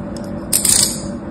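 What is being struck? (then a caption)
Kinetic sand block cut with a thin metal tool. A thin metal tool cuts and scrapes lines into a molded block of beige kinetic sand held on an open palm. Faint soft ticks come first, then a burst of bright, hissy, crumbly scraping rises about halfway through and fades over a steady low background hum.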